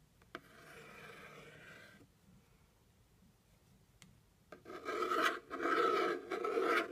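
A plastic stick or pen scratches and rubs across the top of a hollow brown kraft cardboard box. A sharp tick opens a soft, steady rasp lasting about two seconds, followed by a quiet pause and another tick. Louder, bright scraping strokes then start, rising and breaking off in short gaps until the end.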